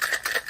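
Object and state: Cocktail shaker with ice being shaken.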